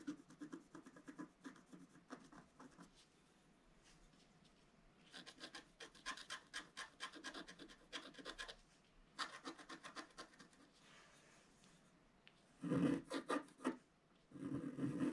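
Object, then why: Black-coated scratch-art paper card scratched with a wooden stylus. A wooden stylus scratches lines into a flat black-coated scratch-art paper card, working on the lower flowers and the vase area. Rapid, dry scratching strokes come in bursts separated by quiet pauses, and the final bursts are louder and fuller.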